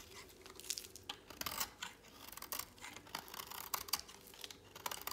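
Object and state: Dry soap bar shaved with a blade.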